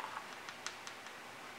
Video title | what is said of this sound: Making Christmas Ornaments - DIY | it should be a solid Hollow sound when you tap on it